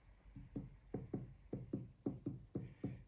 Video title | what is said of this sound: Alexander Master Toolmaker Mill Rebuild Part 2 | hear it's hollow there, so it definitely isn't contacting at those points